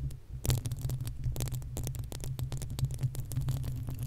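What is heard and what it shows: Long acrylic nails on both hands scratch rapidly across the uncovered, hollow metal mesh grille of a desktop condenser microphone. The result is a dense, continuous rustling with bright, crackly streaks over a heavy low, throbbing rumble.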